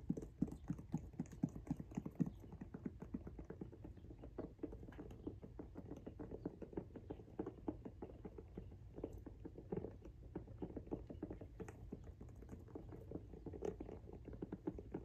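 Fingernails scratch and tap rapidly across the tread grooves of a pink rubber outsole on a Jordan 1 High "Washed Pink" sneaker held in the hands. The result is a quiet, steady patter of short, dull clicks and scrapes that sit mostly in the low range with very little brightness.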